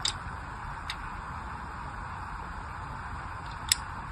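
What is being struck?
Bar of soap cut with a craft knife.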